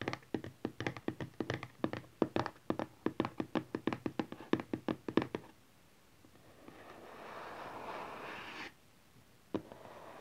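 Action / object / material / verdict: tap / closed cardboard phone box / cardboard / none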